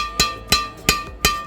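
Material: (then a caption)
Carbon fibre. A strung carbon Yonex Nanoflare 800 Pro badminton racket, made in Japan, is tapped four times, each tap giving a sharp, bright "ting" with a clear ring near 1.2 kHz. Each tap's ring fades before the next tap. The racket has the longer ringing hit sound typical of a high-end racket, like the "ting" heard when netting on court.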